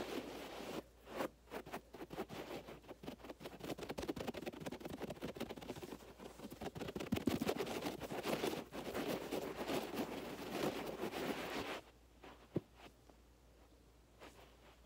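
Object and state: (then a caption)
Carpet scratched by fingernails. Fingertips and nails of both hands aggressively scratch and rake the fibers of a low-pile beige carpet on the floor. The result is dense, rapid, broadband scratching and raking bursts for about 12 seconds, then a sudden drop to near quiet with only a faint scrape and a single sharp tick near the end.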